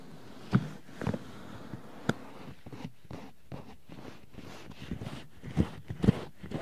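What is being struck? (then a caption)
Silicone ear of a binaural microphone, tapped by rubber-gloved hands. Pink rubber-gloved hands cup, tap and rub the white silicone ears of a 3Dio binaural microphone. Dull, low thumps land at irregular intervals over a soft, close rubbing and squeaking of rubber against silicone, with almost no bright content.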